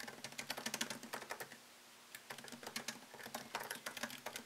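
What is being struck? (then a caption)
Laptop keyboard, plastic keys in aluminium body. Fingertips type on a MacBook Pro laptop keyboard with plastic keycaps set in an aluminium body, with the laptop plugged in by a white cable. Quick runs of light, bright clicks with a faint low tone underneath pause for about half a second, then the typing resumes at the same steady patter.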